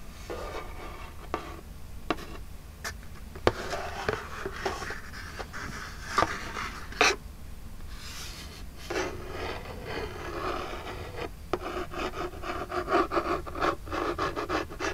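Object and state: Cardboard box scratched with fingernails.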